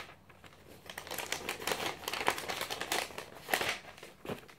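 A glossy paper magazine is held spread open while fingertips flip through its thin pages one after another, making the paper flutter and crinkle. The sound is a quiet run of dry, bright rustles and crisp crackles with almost no low end, each burst dying away quickly. Louder snaps stand out now and then.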